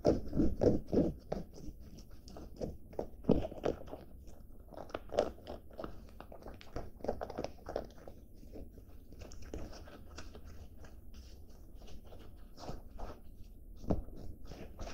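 Fingertips and nails scratch and rub blue cotton denim jeans, with the waistband and pockets held in the hands. The result is an irregular stream of dry, rasping scratches and soft, crunchy strokes, with occasional louder bursts over a low, muffled rumble of fabric handling.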